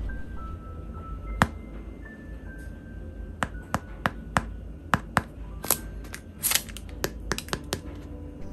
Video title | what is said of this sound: Black Sesame Choux Pastry - Silky Black Sesame Crème Pâtissière Recipe - step by step 💯 Foolproof!!! | crispy pastries happy day